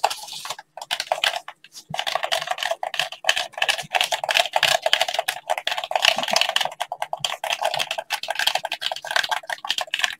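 Fingertips in blue latex gloves tap, press and rub a hand-sized, hollow black plastic gamepad. The result is a dense run of quick, dry clicks and soft scratches, with a bright, crisp tone and almost no low end. The hits come too fast to count, broken by a few brief pauses.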